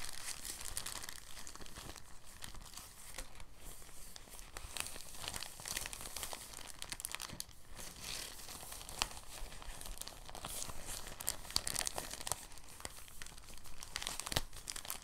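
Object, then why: Thin plastic bag. A thin, empty, translucent plastic bag, folded flat, is rolled between hands. It gives a steady, soft crinkling with dense bright crackles and no pauses for the whole clip.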